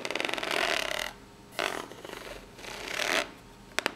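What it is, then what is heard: Corrugated cardboard box scratched with nails. Long fingernails scratch with their tips across the ribbed top of a small, hollow, brown corrugated cardboard box. Bright, rasping strokes come in three bursts, the first a fast, rippling run over the ridges. Two sharp clicks follow at the very end.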